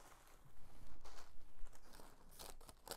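A folded mint green tissue paper sheet is pressed and smoothed flat with both palms and fingers. Soft crinkling and papery rustles rise and fall in brief bursts, with brighter crackles near the end.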